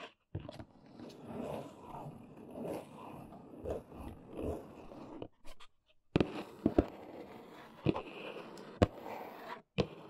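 Fingertips and long nails do scratchy tapping on the top edge of a large, hollow, brown corrugated cardboard box. Soft, papery scratching swells back and forth for about five seconds, then after a brief pause a few sharp, hollow taps crack out over quieter rubbing. Each tap dies away almost instantly.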